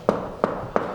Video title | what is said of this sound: LOHNT SICH 2023 EIN EFH NEUBAU? BEIM HAUSBAU SPAREN! Große Fertighaus Doku 2023. | wenn ich jetzt hier gegen die Wand klopfe, dann ist es hohl. Was nicht stimmt, es ist nicht hohl. Da ist Isolierung drin